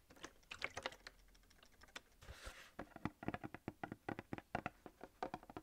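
Fingernails rapidly tap and scratch the sides of a hand-held, coated paperboard gable-top milk carton of about 1 liter. Quiet, dry, clicking taps come in quick bursts, with a brief hissy scratch in the middle before denser tapping resumes. Each tap dies away almost at once.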